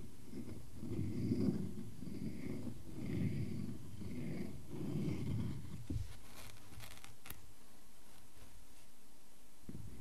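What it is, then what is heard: Wooden log slice. Fingers scratch across a solid tree-trunk slice with visible rings and a bark edge, making soft, low, rhythmic rubbing strokes. An index fingertip then taps the center of the slice, giving a short, dull knock followed by a few faint, bright clicks over a quiet background.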